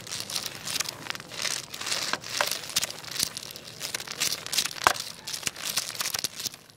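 A jointed wooden crocodile wiggle toy with many solid segments is wiggled by hand on a tile floor and lifted, so its segments rattle and clack together. The result is a steady stream of quick, dry, bright clicks and clatters with almost no low end, and a few sharper knocks stand out.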